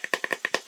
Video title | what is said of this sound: Advanced Squad Leader: How to build your own phase wheel | it sounds pretty good sounds like wood but it's not wood it's it's foam board very light